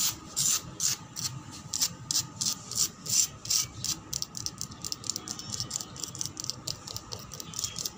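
Long black pointed nails scratch fast and aggressively across a solid weathered concrete floor. The sound is a rapid, somewhat uneven series of bright, rasping scrapes, each short and dry with almost no ring, over a faint low rumble.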